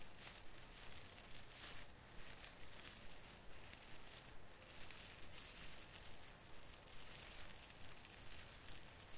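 Fingers rub and squeeze the plastic needles on the branches of a small artificial fir Christmas tree. The result is a quiet, continuous crinkling rustle with a bright hiss and soft crackles that swell and fade in a loose, steady rhythm over a faint low rumble.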